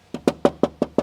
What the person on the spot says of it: it's so it's so cheap and plastic feeling it's it's unreal